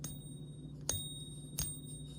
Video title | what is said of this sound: Man Pays For Goods With Fake Silver Coins And Then THIS Happens | it has that distinctive ring